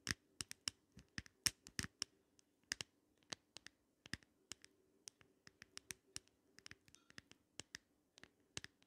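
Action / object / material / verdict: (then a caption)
tap / glass compact mirror in plastic frame / glass / none. Long nails tap and scratch in circles on the round glass mirror of an open compact in a pink glitter plastic frame. About 27 quiet, sharp, bright clicks sound at an irregular pace, each dying away almost instantly, over a faint steady low hum.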